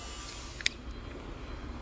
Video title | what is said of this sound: HYDRAULIC PROBLEM BOOM SPOOL NOT WORKING- CONTROL VALVE PROBLEME - MACHINE BOOM NOT WORKING | इसके अंदर भी एक और स्पूल होता है